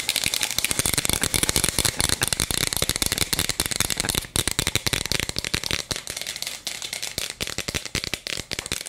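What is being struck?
Plastic toy cup filled with small beads.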